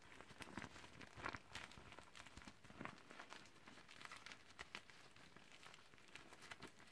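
A deflated teal clear vinyl beach ball is crinkled by gloved hands and rolled tight toward the valve. Dense, irregular crinkling and crackling fills the clip, with sharper bright pops scattered throughout over a soft, broad rustle.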